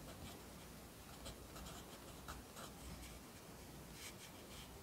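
A yellow wooden graphite pencil, held in the fingers, scratches steadily across the thin sheets of an open lined paper notebook lying flat on a desk as it writes lines of text. The sound is a quiet, continuous papery scratching with short, brighter bursts on individual strokes over a faint low rumble.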